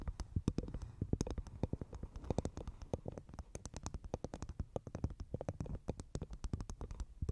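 A dry, hollow half coconut shell with a fibrous husk, placed over the microphone, is tapped and scratched rapidly with long nails. Dense, quick, low, hollow knocks with very short ring run throughout, mixed with scratchy rustling and faint bright clicks.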